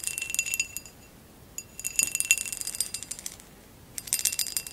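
Long acrylic nails tap and scratch the woven relief pattern of a hollow amber glass vase lying on its side. Bright, rapid clicks and scratchy ticks come in three bursts separated by brief quiet gaps, with a faint glassy ring around 2.7 kHz and almost no low end.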